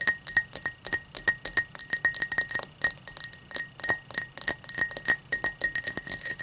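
Long black nails tap and scratch the side of an empty, hollow tall cut crystal glass tumbler lying on a towel. Rapid, irregular bright clinks with a steady high ring near 1.9 kHz die away quickly between taps, with no hum or low rumble.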